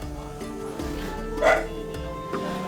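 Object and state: Nothing is struck.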